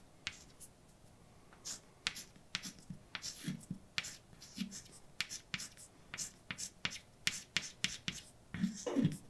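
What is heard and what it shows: A hand writes letters on a large, dark, flat chalkboard with white chalk, making around two dozen short, sharp taps and bright, dry scrapes in quick succession. Each stroke cuts off almost instantly, with a faint low thump under some taps.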